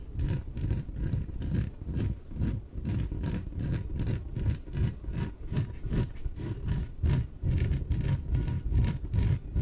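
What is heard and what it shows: Long nails scratch and rub the surface of a small, yellow, hollow, air-filled inflatable PVC exercise ball as it is held and tilted. The strokes come about twice a second as deep, rumbling, roar-like scrapes carried almost entirely in the low end, with faint brighter scratch edges and a thin steady tone near 1 kHz underneath.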